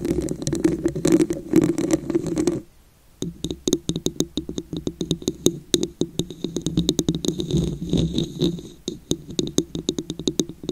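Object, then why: Ridged glass vase. Long nails tap and scratch the ridged surface of a tall, hollow, dark red glass vase or candle holder with a raised wavy pattern. A dense scratching texture with a low-mid body runs for about two and a half seconds, then after a short silence gives way to rapid, closely spaced taps, each with a short bright click and very little ring.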